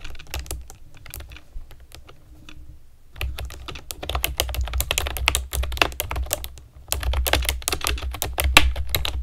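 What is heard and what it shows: Long nails and fingertips type on a pastel plastic keyboard with round keycaps, making a fast stream of bright clicky taps over a low thudding undertone. The typing is quieter for the first three seconds, then grows denser and louder, with a brief pause near the seven-second mark.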